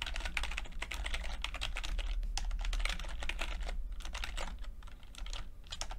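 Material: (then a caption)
Plastic. Fingertips of both hands type continuously on a full-size plastic computer keyboard with red and blue backlit keys and low-profile keycaps. Rapid, irregular clicky key taps with bright attacks run steadily over a low hum underneath.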